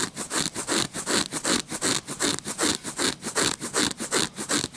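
Short fingernails scratch and rub the patterned surface of a red-backed paper playing card deck held in the hand. About 26 dry, bright scratching strokes come in a steady rhythm, each a short raspy burst with almost no low end and no ring.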